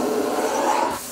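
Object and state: Nothing is struck.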